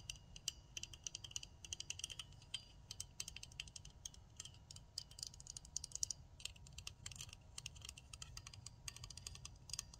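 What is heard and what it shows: Long nails tap and scratch rapidly on the handle and clicking parts of a pink plastic nail tip cutter with a spring and a metal blade. The result is a quiet, dense stream of short, bright clicks and scrapes that stop instantly, over a steady low rumbling noise.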